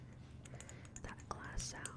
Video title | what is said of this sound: asmr: get unready with me🧴(softly spoken, tapping, etc) | the sound that the dropper makes. Like that glass sound.